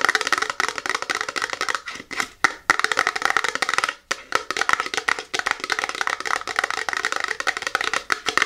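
Long natural nails and fingertips tap and scratch the sides of a small, tall, hollow printed cardboard box for a Seche Vite nail product, held upright in both hands. The result is a dense stream of quick, dry, bright clicks and scratchy rasps with no low end, pausing briefly around 2 and 4 seconds.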